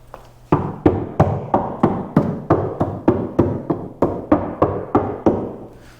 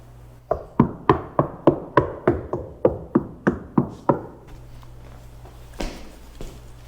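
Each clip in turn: First: Steady knuckle knocks on a bare car quarter panel boom hollow, each leaving a resonant tail that hangs on. Second: About a dozen quick knuckle knocks give short, dull thuds that die at once: a well-damped, solid-sounding panel.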